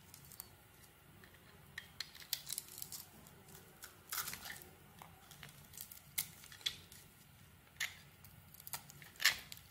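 A metal blade cuts strips off a solid white soap bar coated in pink glitter while it is held in the hand. The cuts come as quiet, bright, crisp scraping strokes with sharp peaks over a faint hiss, each dying away quickly.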